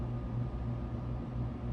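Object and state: Nothing is struck.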